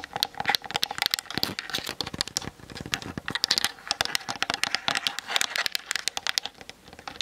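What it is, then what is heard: Plastic camera body tapped with fingernails. Long nails tap rapidly and lightly scratch the sides of a Canon DSLR's hollow plastic body, making a dense stream of short, dry, bright clicks. The taps run too close together to count, with little low end, and each one dies almost instantly.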